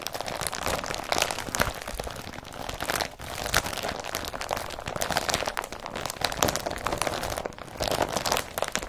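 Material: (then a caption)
Woven polypropylene. Fingernails scratch the weave of an empty blue woven polypropylene IKEA BRATTBY carrier bag, then a hand grips and crumples it. The result is a dense, continuous crinkling and rustling with bright, hissy texture and little low end.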